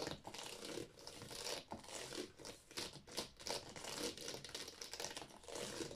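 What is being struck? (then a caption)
Plastic game cases. Long painted nails rapidly tap and scratch along the spines of a row of hollow, empty plastic Wii game cases standing in a drawer. The result is a continuous stream of crisp, bright clicks and rustling scrapes with very little low end, each tap dying away almost instantly.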